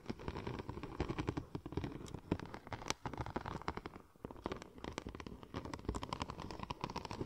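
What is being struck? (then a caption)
Embossed vinyl film sheet. Long nails scratch and tap the embossed tread pattern of a curved, silver checker-plate-pattern vinyl wrap sheet shaped into a hollow cylinder. The result is a dense stream of quick, dry clicks and crackly scrapes with a low body and very short ring, dipping briefly before picking up again.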